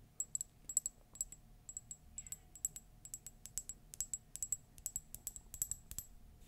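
Long nails tap and scratch the unglazed base of a hollow, empty, green printed Disney ceramic mug. The result is a quick, uneven series of short, bright clicks with very little ring, over a faint, steady low background.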